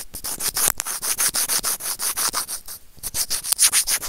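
Serrated plastic tweezers rub back and forth across a small, hollow, white plastic earphone inline microphone remote. About two dozen quick, separate scratchy strokes are heard, bright and hissy with a high sheen and little low end. Each stroke stops dry with no ring.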